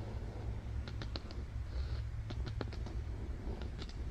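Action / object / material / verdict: tap / thick cardboard board book page / cardboard / none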